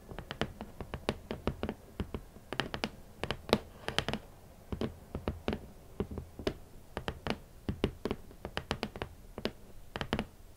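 Long nails and fingertips tap across a large, hollow, rigid red cardboard shoe box lid. Dozens of quick, dry taps come in uneven clusters, each with a hollow low thud and a bright click from the nails that dies away almost at once.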